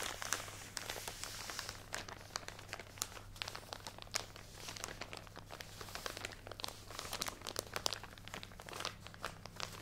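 A full plastic drawstring package of cotton pads is held close and squeezed and scratched with long nails. This gives dense, bright crinkling and crunching with many quick clicks and scratches that stay steady throughout. A faint low hum sits underneath.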